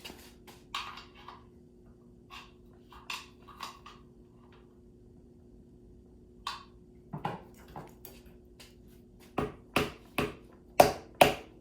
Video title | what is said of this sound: $200 Audi 4.2 was it worth it? | That hollow sound. There we go. That's what you're hoping to hear.